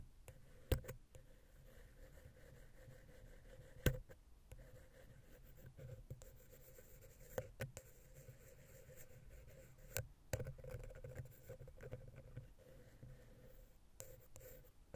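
A wooden ear pick scratches the center of the silver metal XY stereo capsule on a Zoom H6 recorder. The result is a quiet, low, continuous rubbing texture with a steady hum, broken by a few sharp clicks and scrapes.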